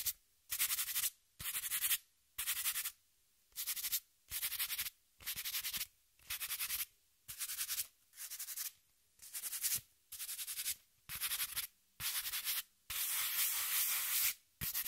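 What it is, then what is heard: Corrugated cardboard sheet. A palm and fingertips rub across a flat brown corrugated cardboard sheet held level, making about fifteen separate dry, bright scratchy strokes with short silences between them. The last stroke is longer and steadier than the rest.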